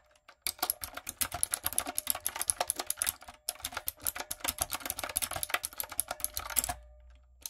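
Fingertips and long acrylic nails type rapidly on a light-up, typewriter-style plastic mechanical keyboard with round plastic keycaps. A dense run of short, bright clicks and clacks pauses briefly about halfway through, then resumes and stops near the end.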